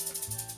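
A homemade plastic egg maraca filled with rice is shaken to show the sound the rice filler makes, for comparison with other fillers. Six quick, soft rattling shakes are heard, each a bright, hissy swish of rice grains against the plastic shell.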